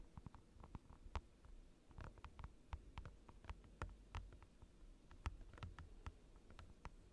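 Fingertips and short nails tap a large, flat, clear plastic desk mat lying on a desk, close to the microphone. A quiet, irregular run of soft, dull low thuds is heard, some carrying brief sharp clicks. Each tap dies away almost instantly.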